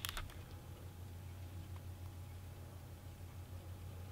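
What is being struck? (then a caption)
Clear plastic CD jewel case with disc. A standard clear plastic CD jewel case for Rammstein's *Herzeleid*, thin and hollow, about 14 cm across with a disc inside, is held in black-gloved hands and turned from front to back, then onto its spine edge. Three quick, bright plastic clicks open the clip, followed by faint fingertip taps on the plastic over a steady low hum.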